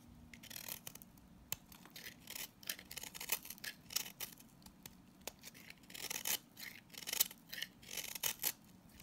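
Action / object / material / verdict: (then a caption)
scrape / salt scrub soap bar / salt soap / none. A box-cutter blade repeatedly scrapes and shaves the surface of a green, palm-size solid salt scrub soap bar, leaving crumbly shavings. Each pass makes a dry, bright, raspy scratch in short bursts with brief quiet gaps, over a faint low steady background.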